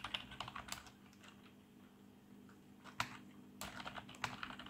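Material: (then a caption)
Plastic. Both hands type fast with fingertips on a black plastic RGB membrane keyboard, giving dense, soft, bright key clicks. A quick burst of presses is followed by a near-silent pause over a faint low hum, then a single sharp press and another rapid run of keystrokes.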